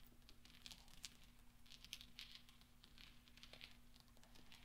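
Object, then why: Small steel balls. Fingertips roll and spread small solid steel pachinko balls across black velvet, making them clink together. Quiet, bright, short metallic clicks patter irregularly throughout, over a faint low steady hum.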